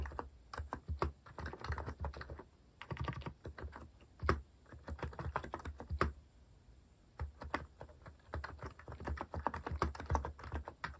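Fingertips type fast and continuously on a compact white-cased mechanical keyboard with plastic cat-themed keycaps. Dense, rapid key clacks come in bursts with brief pauses, giving a deep, thocky sound with little brightness and very short ring.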